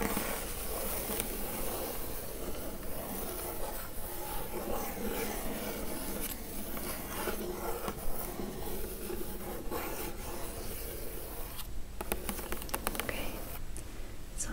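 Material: Cardboard.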